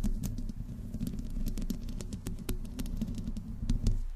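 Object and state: Metal mesh microphone grille being scratched.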